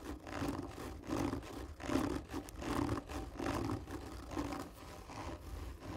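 Long nails scratch slowly and hard across the surface of a hollow, textured cardboard tube lying on its side. The result is a series of rough, scraping strokes with a hollow, resonant hum around 280 Hz, repeating at a steady, unhurried pace.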